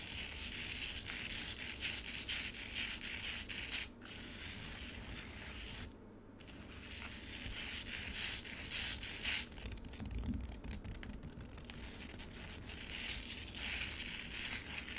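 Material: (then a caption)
Ice. Long acrylic nails scratch the surface of solid frozen red pomegranate juice in a white rectangular plastic container. The result is a steady stream of bright, crackly scraping strokes with brief pauses just before 4 and 6 seconds.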